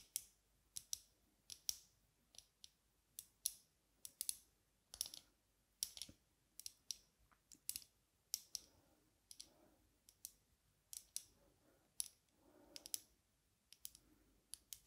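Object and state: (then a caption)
Aviator sunglasses tapped with fingernails. Long nails tap the dark lenses of metal-frame aviator sunglasses held off the face, making dozens of sharp, bright clicks in an irregular rhythm. Each tap is very short and dry, with almost no low end, and quiet pauses fall between the taps.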